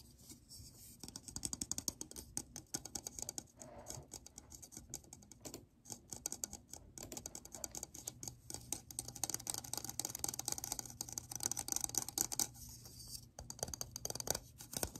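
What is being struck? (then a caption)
Ridged plastic lid. Fingertips and short nails scratch and tap along the rim of a hollow black plastic ridged lid, shaped like a ring open in the middle. The result is a steady, quiet stream of dense, crisp clicks and scrapes that are mostly bright and high, with little low end and almost no ring after each touch.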